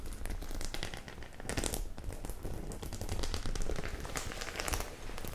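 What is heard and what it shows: Long nails scratch and tap the metal studs on a hollow, soft-bodied white faux leather clutch bag held in the hands and tilted. The result is a steady, dense crackling and scratching texture with bright, rapid ticks over a low, muffled rumble.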